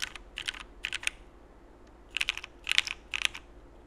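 A Frog mechanical keyboard with cream CRP plastic keycaps, Cherry Black switches and an aluminum plate is typed on with slow fingertip presses, first with one hand and then with both. About thirteen short, bright, clicky key strikes come in small bursts separated by pauses. Each strike dies away almost instantly, with almost no low end.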